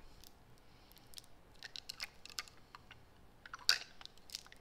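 A small faceted clear glass perfume bottle with a metal spray top, held in both hands close up, is tapped and scratched with long acrylic nails. Quiet, bright, crisp clicks and scratchy ticks come in scattered bursts, with a sharper tap standing out near the end. Each sound dies almost instantly, with no ring.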